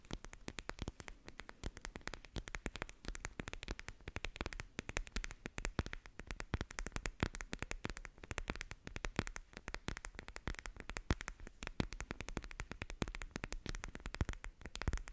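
A small, soft pink fabric cat-eye sleep mask with a glitter front is held close to the microphone and scratched and rubbed with long nails. The result is a dense, continuous stream of crisp, crackly scratches and tiny clicks spread from a low rumble up to bright, hissy highs, with each sound stopping almost instantly.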